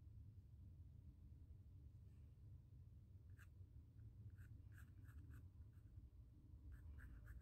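A pencil held in the fingers scratches and sketches curves across the textured surface of a small square white primed stretched cotton canvas panel. Very quiet, faint scratchy strokes come in short bursts over a steady low rumble.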